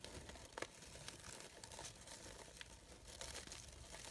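Fingers with long nails rustle the layered petals of a brown-gold organza rose, a sheer synthetic fabric flower with gold glitter edges. The result is a quiet, steady, bright crinkling rustle, broken by a few sharper crackles that stand out from the soft scratchy texture.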